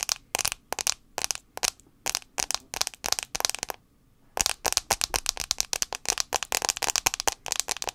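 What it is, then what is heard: Glass phone screen tapped with nails. Long acrylic nails tap quickly on the glass touchscreen of a handheld white iPhone 6s, a small solid device held screen-forward near the mic. Bursts of sharp, bright, clicky taps with almost no low end and very short decay fill the clip, pausing briefly just before the fourth second and then resuming in a denser, faster run.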